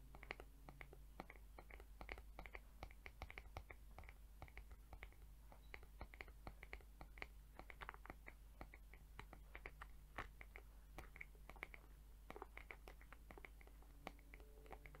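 Long acrylic nails tap and scratch the head of a mint-green plastic hair brush with colorful plastic bristles. Many quick, dry, clicky taps and scratches with a bright edge repeat steadily over a low, constant hum, with possible faint whispering.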